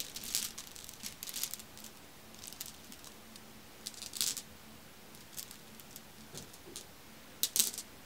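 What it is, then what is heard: Glass marbles clacking together. A hand with long red nails and a large ring rakes through a pile of many small, solid, dark glossy marbles (glass or possibly hematite) resting on a fuzzy white cloth, picking them up and letting them clack together. Bright, crisp clicks and rattling clatters come in scattered bursts, with louder clusters of clacks near the start, the middle and the end, separated by quiet gaps over a faint low hum.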